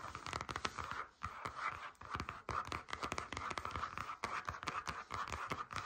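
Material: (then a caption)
Faux leather. Long nails tap and scratch across the surface of a flat grey stitched faux leather folder lying on a table. The result is a quick, dense series of dry, short taps mixed with soft scratchy rustle, centered on a steady mid-pitched tone around 1.3 kHz with very little ring.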